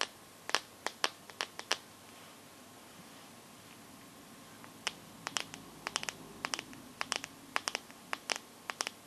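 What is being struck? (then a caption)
Smartphone glass back. Long nails tap and scratch across the glass back of a teal Samsung phone, producing crisp, bright clicks that die away almost instantly. A quick run of taps opens the clip, followed by a quiet pause with only faint scratching, then a denser, irregular stretch of taps to the end.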